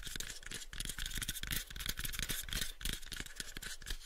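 Fingernails scratch and fingertips tap the faces of a small, hollow, pale unfinished wooden box held in both hands. The sound is a quick, irregular stream of dry scratches and soft knocks with a bright, hissy top and low thuds underneath. Each tap dies away almost at once.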